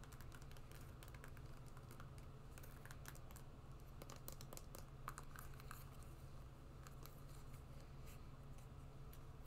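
Long nails tap and scratch the shiny surface of an empty, glossy black patent leather high-heeled shoe. Quick, quiet clicks and scratchy strokes flicker over a steady low hum, with brief bright ticks that die away almost at once.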